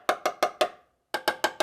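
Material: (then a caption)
Steel. A structurally strong steel section of a Miata's car body is tapped eight times, in two groups of four separated by a short pause. Each tap is a short, dry knock with a pitch near 620 Hz that dies away quickly without ringing. The area is solid and causes no vibrations, so it needs no Dynamat.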